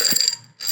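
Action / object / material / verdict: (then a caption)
shake / glass jar containing rocks / glass, stone / none. Rocks are shaken inside a glass jar, making a bright, high-pitched rattling clatter with a glassy ring. The rattle fades into a brief silence and then starts again.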